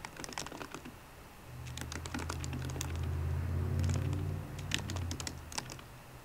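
Fingertips with painted nails on both hands tap the black plastic keys of a solid 13-inch silver aluminium MacBook Pro laptop keyboard. Quick, bright, irregular clicks come in bursts, while a steady low hum swells underneath through the middle of the clip and then fades.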